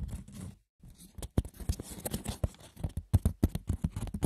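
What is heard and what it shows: Fingers scratch and tap the rough, textured woven surface of a wicker basket, with no talking. A dense, irregular patter of short, dry clicks and scratchy rustles follows, with brief pauses, each tap dying away almost instantly. The sound is weighted toward a dull, low thump beneath faint bright scratching.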